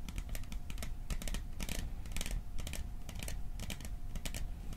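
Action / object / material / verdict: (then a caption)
tap / small metal tin / metal / none. A small, hollow, cylindrical metal popcorn tin with a "Silent Night" print is tapped with fingertips and nails. The result is a fast, steady stream of short, dry clicks and taps with bright metallic ticks over a dull low thud, each dying away almost at once.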